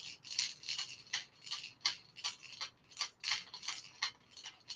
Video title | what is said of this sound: JDM Unboxing Extravaganza!! | You can kind of hear that like knock it gets